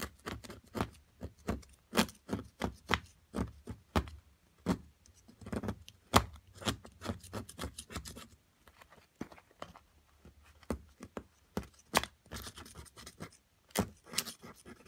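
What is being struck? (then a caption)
Plaster block scraped with a metal pick. A small, solid plaster excavation block from an amethyst crystal excavation kit is held down by long-nailed fingers and scraped and chiseled with a small metal pick. A rapid series of short, dry scratching clicks and taps is heard, with a brief lull partway through before the picking resumes.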